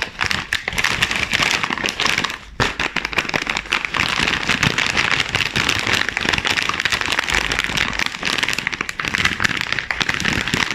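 Black-gloved hands grip, flex and crinkle a sealed, full chips bag of glossy plastic and foil film, held with its back side showing. Dense, bright crackling runs almost without a break, pausing briefly for a moment near the start before continuing steadily to the end.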